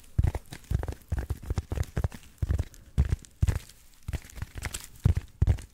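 Fingertips and short nails scratch and tap across the textured surface of a hand-sized black packing foam insert with cut-out slots, held close to the mic. A quick, uneven series of soft, dull thuds and scratchy crinkling rustles is heard, heavy in the low end with almost no brightness. Each touch stops dead with no ring.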